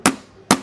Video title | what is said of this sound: ई-रिक्शा Parts के सबसे बड़े मैन्युफैक्चरर - मोटर, कंट्रोलर, शॉकर, Differential ख़रीदे 200+ products | आवाज से पता चल रहा है भाई साहब ये देख लीजिए तो भाई साहब इसे कहते हैं क्वालिटी